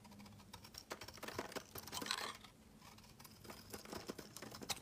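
A metal utility-knife blade scrapes flakes off a rectangular, solid cream soap bar with an embossed pattern, held in the hand. The result is a quick run of crisp, dry scraping and clicking with a bright, papery edge. It swells into a denser, louder scrape near the middle, then continues in lighter, scattered strokes.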